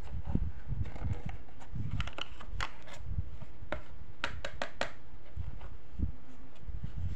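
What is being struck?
Small hard-plastic box.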